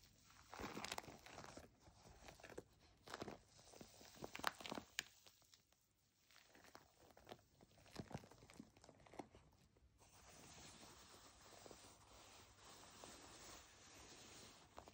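Long nails scratch and tap the bubbly surface of a white plastic foam bath pillow held upright. Irregular crunchy, crinkly taps and scrapes come first, then a steady, brighter scratching rustle runs through the last few seconds.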